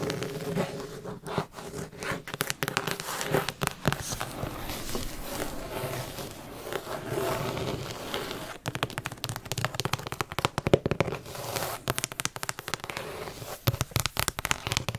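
Long acrylic nails tap and scratch the front of a large, thick hardcover Jane Austen book with a decorated cloth or paper cover, held solidly in hand. Dense, rapid dry clicks and crackling scrapes run throughout, easing into a smoother scratching stretch in the middle before sharper, faster tapping resumes.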